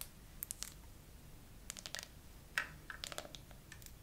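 Long nails tap and scratch across a clear plastic phone case decorated with glitter and green charms, on a phone held in a tripod holder. Slow, irregular bright clicks and light scratching sounds are sparsely scattered over a quiet, low background hum. Each tap is short and dry, with no ring.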